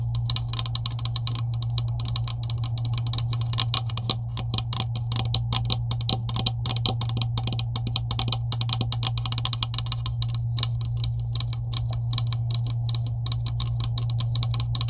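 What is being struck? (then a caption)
Plastic PVC pipe with couplings. Long acrylic nails tap rapidly on a green hollow plastic PVC pipe with couplings, making a dense stream of short, dry clicks with a bright high edge. A steady low hum sits underneath the taps throughout.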